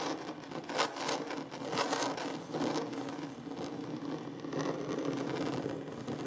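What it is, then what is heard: Solid wooden tabletop. Short fingernails and fingertips scratch and rub across a large solid wooden tabletop, making a dry, rasping scrape. The texture is steady and mostly midrange with bright, hissy streaks, and a few strokes come through slightly louder.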